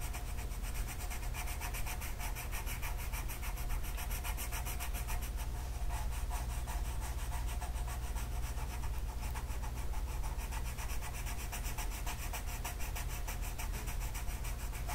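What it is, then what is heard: Colored pencil rubbing on a paper sheet. A light blue colored pencil makes steady, rapid back-and-forth coloring strokes across a flat paper mandala sheet resting on a table. The result is a continuous scratchy rubbing sound over a constant low hum, holding at an even level throughout.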